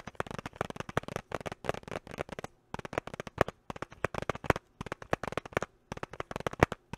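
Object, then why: Small hard-plastic box. Fingertips and short nails tap and scratch a small clear hard-plastic box with a pink item inside, held close to the mic. Quick bursts of dry, sharp clicks and scratchy ticks come in clusters, separated by a few brief pauses. Each hit stops almost instantly, with no ring.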